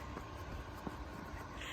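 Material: Nothing is struck.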